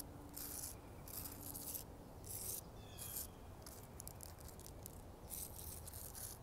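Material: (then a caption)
Bark. Long acrylic nails scratch and tap along the thick, deeply furrowed bark of a large, solid living tree trunk. Repeated bursts of bright, rasping scratches sit over a steady low rumble, with short dry taps between strokes.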